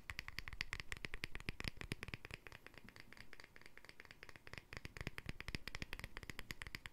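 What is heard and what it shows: A small glass jar with a green plastic lid and white center is held up close while fingertips and nails rapidly tap and scratch the lid's edge and face. The hollow container gives dry, clicky taps with a bright ring around 2 kHz that dies almost at once, over a low thudding body, with a quieter scratchy stretch in the middle before the tapping picks up again.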